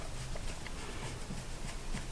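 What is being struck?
Nothing is struck.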